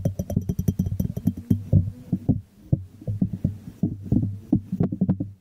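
Fingertips tap and scratch the glazed bottom of a small hollow white ceramic jar held sideways. The result is a quick, irregular run of dull, hollow knocks with a low resonant thump, bright clicks early on, and brief scratching between taps.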